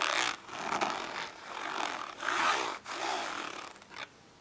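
Long nails scratch and tap the textured, ridged lid of a small, hollow, glossy orange plastic storage case lying flat on paper. Bright, raspy scraping strokes come in uneven bursts with brief quiet gaps, carrying a hollow midrange tone and almost no low end. The clip ends in near silence.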